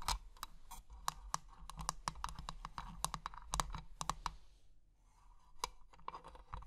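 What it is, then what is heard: Metal-framed glass box tapped with nails. Long painted nails tap and scratch on the lid and clear glass sides of a small hollow treasure-chest box with an ornate bronze-coloured metal frame, filled with colourful plastic gems. Quick, dry clicky taps come in rapid bursts with a tone around 1.1 kHz and a bright edge, mixed with soft scratching. A brief quiet lull near the five-second mark is followed by more tapping.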